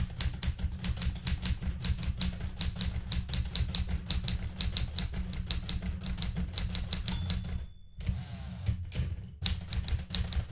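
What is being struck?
Metal manual typewriter.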